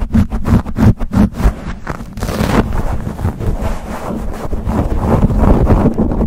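Fingertips and nails scratch and rub fast on a black foam windscreen fitted over a silver condenser microphone. The first two seconds bring quick, separate scratchy bursts, then a continuous, dense rubbing roar. The sound stays heavy in the low end, with a muffled, rumbling texture.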